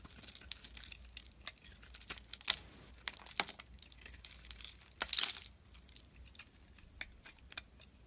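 A solid white bar of soap held in the fingers is carved and chipped with a metal blade, leaving a pile of soap chunks nearby. Quiet, bright scraping and crisp chipping clicks repeat throughout, with a few louder crunchy cuts standing out. Each cut ends sharply with almost no ring.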